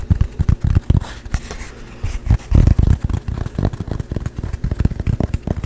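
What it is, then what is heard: Painted canvas panel. A small, dark painted canvas panel, a thin flat board held in both hands close to the mic, is tapped fast with fingertips and nails. The result is a rapid, uneven flurry of dull, low thumps that die away almost instantly, with faint brighter clicks from the nails.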